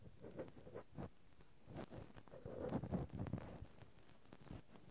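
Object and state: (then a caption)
Metal microphone grille scratched with cotton swabs. Two cotton swabs, one in each hand, scratch and rub directly on the metal mesh grilles of a Zoom handheld recorder's X/Y microphone capsules. The result is a close, low, muffled patter of soft scratchy strokes with brief bursts of bright rustle. Around nine irregular strokes are heard, swelling a little louder near the middle.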